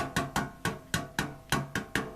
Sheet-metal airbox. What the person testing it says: sounds pretty tinny